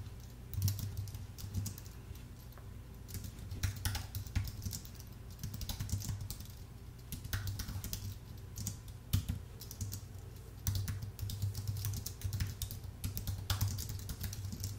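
Both hands type with the fingertips on a full-size white Apple Magic Keyboard with an aluminium base and plastic keys, producing steady runs of soft key clicks. The clicks come in irregular bursts, some keystrokes louder than others, over a low, steady hum.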